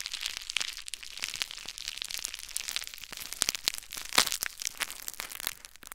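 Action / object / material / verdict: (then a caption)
scrape / plastic bubble wrap / plastic / none. Crumpled clear plastic bubble wrap is held in the fingers and squeezed, giving a steady stream of bright, high crinkling and crackling. Sharper, louder pops stand out now and then, with almost no low end beneath the dense texture.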